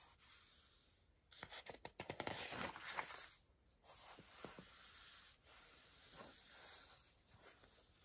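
A large softcover paper word-search book rests open on a pillow while its pages are rubbed flat with the fingertips and palm, turned over, and touched with a pencil. Crisp, bright paper rustles and a quick run of sharp flicks from the page turn are followed by softer dry rubbing swishes and light pencil contacts.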